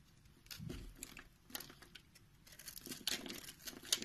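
A utility knife blade with a green handle scrapes the surface of a solid round orange and white bar of soap held in a palm, and crumbly powder falls off. The sound is a series of dry, bright, crumbly scraping and crackling strokes that come in irregular bursts and grow busier toward the end.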